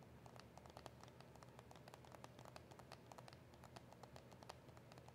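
Long acrylic nails tap quickly and lightly on a small, hollow cardboard box of press-on nails with a clear plastic window. The result is a steady stream of soft, crisp clicks with bright ticks on top, each dying away almost instantly, over a quiet low hum.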